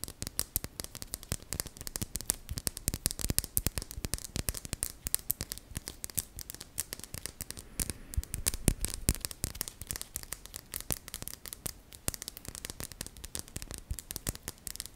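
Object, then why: Polished crystal stone. Long painted nails tap and scratch the surface of a small, solid, rounded, polished dark green crystal stone held in both hands. The result is a steady stream of rapid, sharp clicks that stop almost instantly, mixed with soft scratching across the full 15 seconds.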